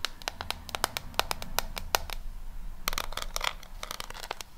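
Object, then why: Cardboard eyeshadow palette. Long fingernails tap and scratch the front of a pink W7 cardboard eyeshadow palette held above a microphone. Rapid, sharp, bright clicks come in uneven bursts with almost no ring, over a faint low hum. Softer scratchy rustling runs between the taps.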